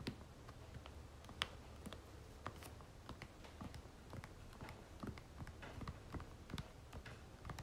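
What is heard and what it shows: Long nails tap rapidly on the back of a soft plastic lotion tube held upright. The result is a quiet, irregular patter of short, dry clicks with bright tips, each dying away almost at once over a steady low rumble.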